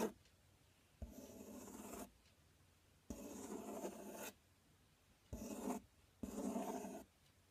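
Fingertips and nails scratch and tap the front panel of a large, empty, open corrugated cardboard box. Four separate bursts of dry, raspy scratching each open with a sharp tap, bright and papery in tone, with quiet pauses between them.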